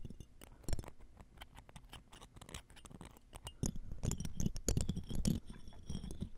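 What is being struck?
Metal mesh microphone grille scraped with metal tools.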